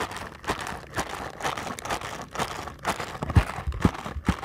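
A small paperboard ankle support box is held up close while fingertips tap rapidly on its faces. The result is a quick, somewhat irregular run of soft, dry taps with a light crinkly, papery texture. The taps are low and muffled, with brief sharper knocks near the end.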